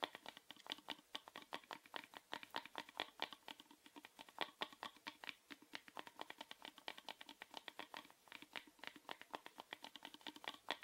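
Fingernails quickly tap and scratch a small, hollow, orange plastic rectangular box held upright. A rapid, steady stream of short, dry clicks continues for about eleven seconds, with a bright hollow tone and no low end.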